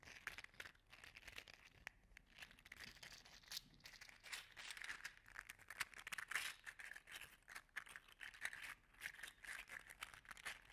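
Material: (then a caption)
PLA plastic. An orange and gold 3D-printed PLA articulated slug toy is held in one hand, bent and shaken so its loose segments rattle and click. The result is a quiet, continuous stream of bright, dry plastic clicks and crinkly rattles with very little low end.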